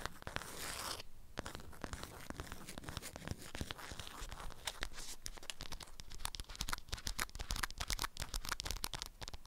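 Long acrylic nails scratch and tap a flat rectangular item wrapped in a strawberry-print beeswax-coated fabric wrap. The result is a dense run of crisp, crinkly scratching with many sharp, bright taps and a brief lull just after the first second, continuing steadily for about nine seconds.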